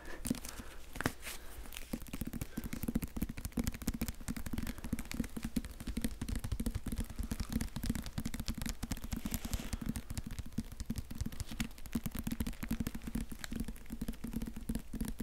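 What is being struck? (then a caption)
Hardcover book with plastic-covered jacket. A Harry Potter hardcover book in a glossy plastic-covered dust jacket with a sticker is tapped and scratched rapidly with fingertips and nails. A dense, steady stream of quick, dull taps with a low hollow tone around 250 Hz runs throughout, mixed with faint scratchy crackle. Each tap dies almost instantly, so the sound stays close and muted.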